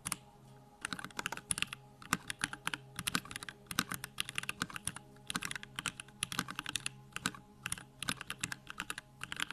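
A compact 65% Bakeneko65 mechanical keyboard with a pink aluminum case, plastic keycaps, Durock lavender switches and backlighting, resting on a wooden desk, is typed on rapidly with the fingertips of both hands. It gives a steady stream of crisp, bright clacks, each dying away almost instantly, over a faint low hum.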